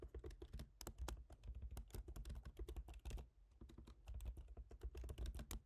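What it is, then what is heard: Laptop keyboard typing. Fingertips type steadily on a silver MacBook Pro's aluminium laptop keyboard with plastic keys, making a quick run of soft, muffled taps. Most of the energy sits in a low thump, with faint bright clicks on top. Each tap dies away almost at once, and the typing eases briefly near the middle before picking back up.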